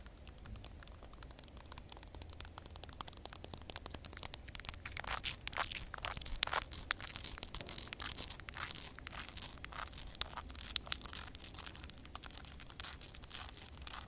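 Long red nails tap and scratch across a flat, solid wet concrete slab with a reflective water film on top. The result is a steady stream of bright, crackly scratches and quick dry taps over a faint low rumble, growing denser and louder in the middle with a few sharper clicks standing out.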